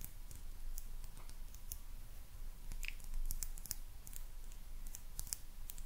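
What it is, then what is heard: Ceramic lucky cat figurine tapped with nails. Long nails tap and click across the glazed surface of a small, hollow ceramic maneki neko lucky cat figurine. The result is a steady run of quick, bright clicks with short decays over a low, quiet rumble.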